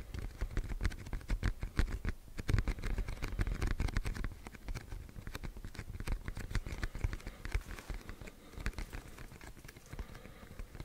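A medium-size black printed cardboard box for a Yeti microphone, held up in the air, is tapped rapidly with fingertips and nails. It makes a dense, uneven patter of soft, dull thumps with light clicky edges. Each tap dies away almost instantly.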